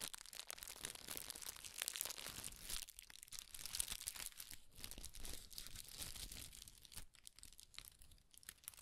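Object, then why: Tissue paper. Red tissue paper is scrunched, pulled open and flattened between both hands. The result is a quiet, continuous bright crinkling with dense crackles and soft rustles throughout.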